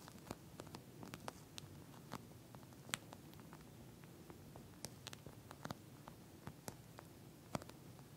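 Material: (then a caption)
Plastic. Long nails of both hands tap and scratch the surface of a pink, flat eye mask with a clear plastic shell filled with small gel beads. Quiet, steady scratching and crackling over a low murmur is broken by many short, sharp, bright ticks and clicks that stop almost instantly.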